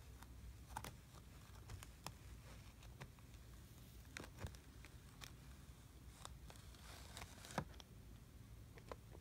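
A small teal plastic tool is drawn through flattened brown kinetic sand in a blue plastic tray, scraping and cutting straight lines. Soft, gritty scrapes and short crisp ticks sit over a steady low rumble, with a few sharper clicks standing out, at a quiet level.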